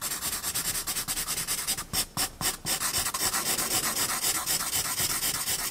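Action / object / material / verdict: scrape / paper blending stump on a graphite-covered sketchbook sheet / paper / none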